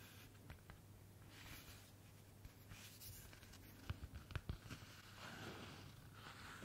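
Long nails of both hands rub and scratch the cover of a thin, white, paper-covered notebook printed with eyes, held up close. Quiet, dry papery rubbing runs over a steady low hum, broken by a quick run of six sharp scratches near the middle before the soft rubbing resumes.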